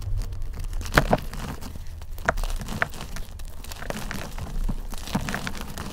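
Fingers snap and crumble multicolored chunks of a dried gym chalk and cornstarch mudpie, solid yet crumbly, over loose powder. Sharp, dry cracks stand out against a steady, soft crinkling crunch and a low, dull rumble.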